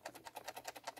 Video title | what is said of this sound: NX Series #10 Look at it the NX10 more info. | if you shake it you hear something rattling the only thing that's rattling guys is this power button